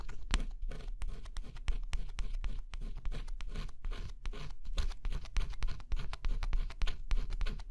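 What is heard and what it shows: A thin scraper stylus scratches steadily across a flat cardboard jigsaw puzzle with a black scratch-off coating. The result is a quick run of dry, gritty scratching strokes that come at an uneven pace, each a short bright rasp over a soft low rumble.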